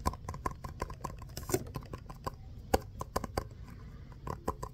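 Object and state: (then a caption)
Foam stress ball. Fingertips and short nails tap and scratch a small, solid, textured orange foam basketball stress ball, shown close up. A rapid series of soft, dull taps with almost no ring sits over a faint scratchy rustle. Most of the sound is low and muted, with little brightness.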